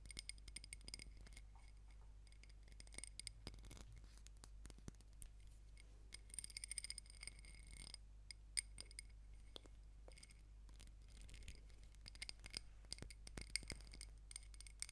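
Long nails tap and scratch along the rim and sides of a small ribbed glass candle jar full of pink wax, with the wick visible. The sound is a quiet stream of many short, bright clicks and scrapes with light glassy chinks over a steady low hum.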